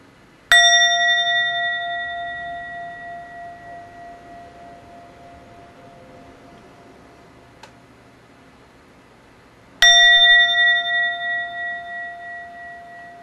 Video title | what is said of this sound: 🎎 Buddhist Altar Bell Set - Authentic Japan Buddhism Rin | I hope that you can hear the resonance uh that this Bell has it's a very lovely tone